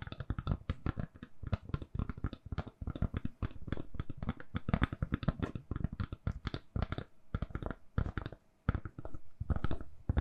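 A handheld smartphone in a purple (lilac) soft silicone case, solid, is tapped rapidly with long nails. The result is a dense run of short, dull, low-heavy clicks and taps that stop almost instantly, with only brief pauses between bursts.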